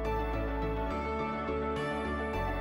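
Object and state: Nothing is struck.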